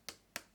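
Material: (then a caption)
Plastic. Taps on the upper plastic frame piece of Shure SRH840 headphones, where the cable runs along the outside, give two sharp, bright clicks followed by a fainter third. Each tap dies away almost at once, with energy mostly in the high frequencies and very little low end. The piece sounds hollow.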